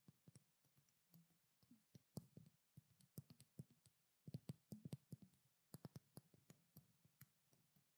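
A small pink frosted glass perfume bottle, held in both hands with its cap off, is tapped and scratched with long black-painted nails. The result is a quiet, irregular stream of crisp clicks with a soft, low body and almost no ring, with faint scratching between the taps.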